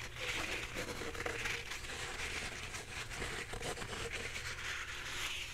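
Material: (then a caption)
Paper. Fingernails scratch the soft surface of a full roll of white embossed paper towels, held sideways and then upright. The result is a steady, dense, bright scratchy rustle with a crinkly texture and a faint low rumble underneath.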